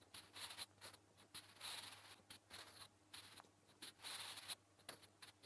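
A sharpened natural-wood graphite pencil, held in the fingertips, scratches across a flat grey lined notebook page resting on a surface while writing Korean letters. Quiet, dry, high-pitched scraping strokes come in short bursts with brief pauses between them, and a faint low hum sits underneath.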